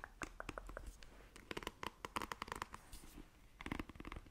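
Long nails scratch across the bristle cushion of a black plastic paddle hairbrush in a rapid series of short, crackly, bright scrapes. The scrapes come in quick clusters, with a quieter stretch of softer rubbing before a final burst. The whole clip is quiet and close.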